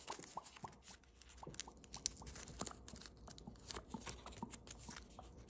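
Thin holographic green-blue foil origami paper, a partly folded crane, is pressed and creased between fingertips and thumbnails. The result is quiet, crisp crinkling and ticking with many short, bright snaps over a soft, steady low background.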